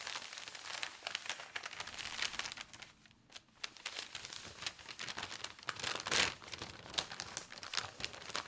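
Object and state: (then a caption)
Newspaper sheet. Large, thin newspaper pages are lifted, turned and smoothed flat while fingertips and long nails rub the paper. The result is a steady run of bright crinkling and rustling with crisp, fast-decaying scrapes, a brief quieter pause near the middle, and a sharper burst of crinkle later on.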